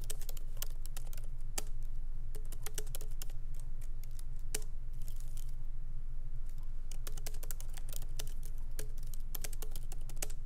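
Fingertips of both hands type lightly on the black plastic keycaps of a MacBook Pro laptop keyboard, in its aluminum body, resting on a wooden desk. Quick, bright key clicks come at an uneven pace over a steady low hum.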